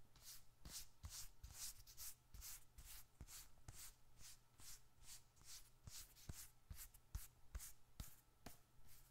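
A small, closed, dark red leather bifold wallet, hollow with bills and receipts inside, is held in one hand and rubbed and scratched with the fingertips of the other. A steady series of soft, bright, scratchy strokes repeats at roughly one per second, each with a faint low thump. The result is a quiet, rhythmic rustling texture.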